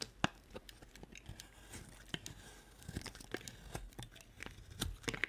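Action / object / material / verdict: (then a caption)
scrape / bar of soap / soap / none. A solid white bar of soap, held in the hand, is cut into flat chips with a utility-knife blade. Each slice gives a short, dry, crisp scrape and crackle with bright clicks and almost no ring, in an uneven series over a quiet background.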